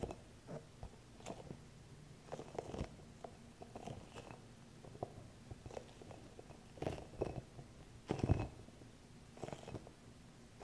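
A small, green, hollow rubber massage ball with soft spikes is held in both hands close to the mic while long nails and fingertips tap and scratch across its spiky surface. Quiet, dull, low-pitched taps and soft crackling scratches run throughout, with a few louder, rougher rustling bursts near the end.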